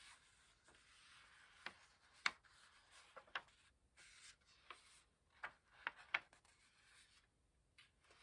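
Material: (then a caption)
Paper. Pages of an open paperback book resting on a pillow are turned and rubbed with the fingertips, making a quiet, soft paper rustle. About eight brief, crisp page flicks stand out above the steady hiss of rubbing. The sound is bright and airy, with almost no low end.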